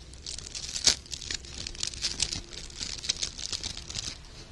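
Loose loops of gold glittery sheer organza ribbon with wired edges are held in both hands while fingertips and short painted nails crinkle and rub the thin fabric. The sound is a steady, bright, high crinkling and rustling, broken by several sharper crackles, with almost nothing low.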